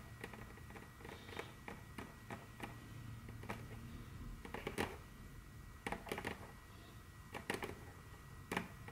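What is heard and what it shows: Very long curved fingernails tap and click rapidly on a large, solid, dark brown glossy wooden tabletop. The sound is a quick, uneven string of short, sharp clicks with brief bright edges and almost no ring, over a faint steady background hum.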